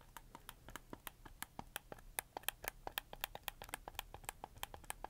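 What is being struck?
Plastic game controller.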